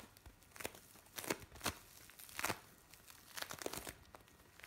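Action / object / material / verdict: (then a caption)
scrape / bead play foam / foam beads / none. Pieces of blue bead play foam, gathered into one soft lump, are kneaded and squeezed by both hands. This gives a bright crinkling and crackling sound in uneven short bursts, with dry bead pops that stop at once and no ringing.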